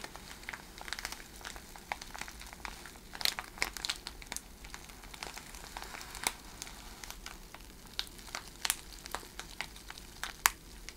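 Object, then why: Plastic bag filled with cellophane shred. Long red nails scratch and crinkle the surface of a clear plastic bag packed with iridescent cellophane shred. The result is a steady, quiet bed of dense, bright crinkling, broken by scattered sharp crackles that snap and stop almost instantly. There is very little low end.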